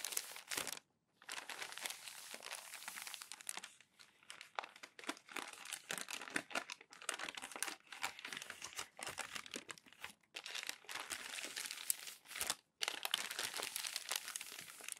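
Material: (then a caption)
Paper. A flat palm smooths and rubs a page on a stack of crinkled glossy magazine paper, then fingers lift and fold the next sheet. The result is dense, bright crinkling and rustling with no low end, broken by a few brief silent pauses.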